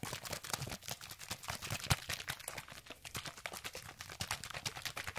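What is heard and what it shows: A hand-sized, hollow orange plastic sunscreen spray bottle, partly filled with liquid, is held in one hand with painted nails and shaken fast near the microphone. Rapid, bright sloshing and plastic clatter come in a steady stream of short bursts, with one sharper, louder knock just before the two-second mark.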